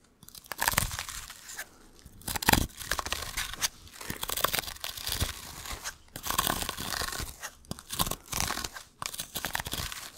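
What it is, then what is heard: Sisal rope scratching post. Long, hard fursuit claws scratch and rake along the rope fibers of a small sisal-rope-wrapped cylinder held in one hand, close to the microphone. The result is irregular bursts of dry, crunchy, bright scratching, some short and sharp, some longer rasping strokes, with brief quiet gaps between.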